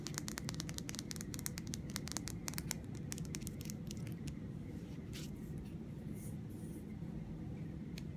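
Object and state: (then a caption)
Plastic mascara tube tapped with nails. Long red nails tap and scratch along the body and end of a small, hollow green plastic mascara tube. Quick, crisp clicks come in dense bursts during the first four seconds, then thin out into softer scratching over a steady low rumble.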